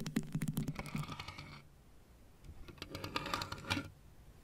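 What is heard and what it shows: A lit plastic Pac-Man and ghosts LED desk lamp, hollow shell figures on one base, is tapped with fingertips and nails. Two quick bursts of light, hollow clicking taps are heard, separated by a short quiet pause in the middle.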